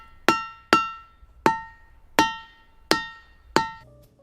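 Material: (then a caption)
Diabase. A diabase boulder at Ringing Rocks Park in Bucks County, Pennsylvania, is struck six times with a hammer. Each strike gives a sharp attack and a clear, bell-like ring with steady tones around 900 Hz, 1.3 kHz and 1.9 kHz that fade quickly. At the end a faint lower tone lingers.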